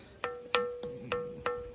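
A lower spot on a granite bell rock boulder is tapped six times, each tap giving a short metallic ring with a clear tone near 490 Hz and bright overtones that fade within about a fifth of a second. The ringing is weaker at this spot, while the top of the rock rings well.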